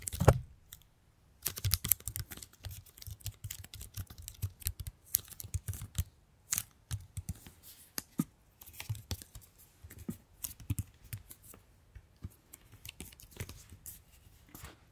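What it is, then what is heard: Plastic bottle. A hollow pink plastic paint bottle with a yellow cap is held and turned while long nails tap and scratch it. Quick, dry taps and scraping sounds follow one another with a short pause early on. Each tap is a brief click with a dull, hollow low thump and little ring.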